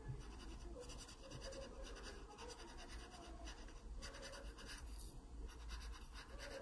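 A graphite pencil scratches short, dark strokes onto the pear stem of a drawing in an open paper sketchbook. The result is a steady, soft, gritty scratching over a constant low hum, with faint bright hiss on top.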